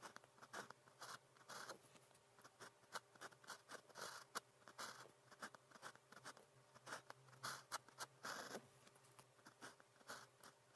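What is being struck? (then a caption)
Plastic pen on paper sheet. A blue plastic pen with a fine tip writes continuously on cream grid paper. It makes quiet, dry scratching strokes with short bright bursts, and a steady low hum sits underneath.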